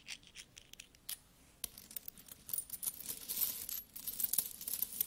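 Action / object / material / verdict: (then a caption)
scrape / pile of metal coins / metal / none. A small stack of solid metal coins is rubbed, then flat hands with long nails rummage through the pile. Quiet, bright clinks and scraping rustles come in short, sharp bursts that die away almost instantly. The jingling grows busier and denser toward the end as the coins shift against each other.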